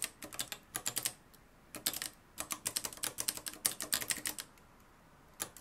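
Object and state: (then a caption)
Manual typewriter typing. Fingertips type on a mustard-yellow, plastic-cased manual typewriter with a metal mechanism and dark plastic keys, resting on a wooden desk. About thirty sharp, bright key clacks arrive in quick bursts, separated by two brief pauses. Each strike is crisp and dies away almost instantly, with very little low end.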